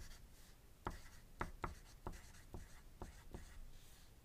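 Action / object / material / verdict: scrape / graphite pencil on a paper sheet / paper / none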